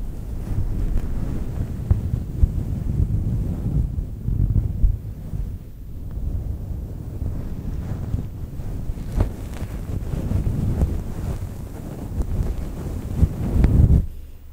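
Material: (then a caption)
Synthetic fur. Long nails scratch and rub a fluffy faux fur microphone windscreen while hands cup it. The result is a dense, muffled low rumble with soft thumping bumps and almost no high or bright sound.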